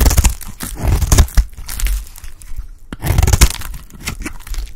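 A blade scrapes and cuts pieces off a dry, solid yellow Lifebuoy bar soap. Repeated dry, crunchy crackles and brief tearing scrapes come in bursts, with a heavy low thump underneath and bright crisp edges. There is a short pause near the middle before the cutting resumes.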